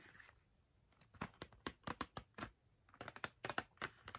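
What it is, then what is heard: Cardboard box of markers tapped with nails. Long nails tap the front face of a small, hollow Crayola cardboard box filled with markers, held in the hands and then lowered toward a book. About sixteen quiet, sharp, dry clicks with a bright papery edge, each dying away almost at once, come in uneven bursts after a soft rustle at the start.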